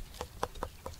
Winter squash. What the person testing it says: it's going to have a hard flesh that's going to sound hollow when you tap on it